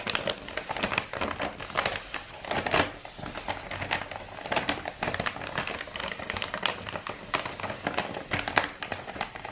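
Long nails scratch and tap the surface of a hollow roll of brown kraft wrapping paper with a star print, held diagonally. The result is a dense run of dry, papery crinkles and quick bright taps that rise and fall in bursts, with little low end and almost no ring after each touch.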